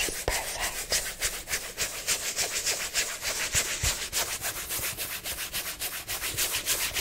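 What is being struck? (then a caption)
Small nylon fabric zip pouch. A small, soft black nylon zip cosmetic pouch, hollow and held in hand, is rubbed and scratched with long nails. Quick, fairly regular strokes of bright, hissing fabric scratching follow one another at about three to four per second, with little low end. The result is a steady, crisp rustling texture throughout.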